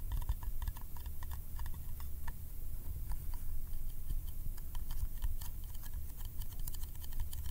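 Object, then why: Small metal candy tin. A small round yellow metal candy tin is held close to the microphone and tapped rapidly on its lid with the fingertips. The result is a quick, steady run of short, dry clicking taps with bright metallic ticks over a constant low rumble.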